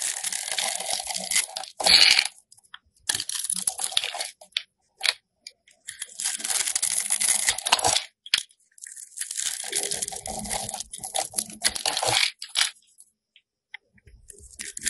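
A solid pink rectangular soap bar is held in hand and scored and scraped with a metal box cutter blade. Bursts of dry, bright crunching and scratchy scraping come in runs of a few seconds, separated by short silences.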